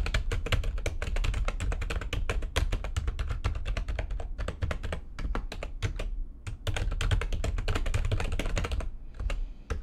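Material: Plastic.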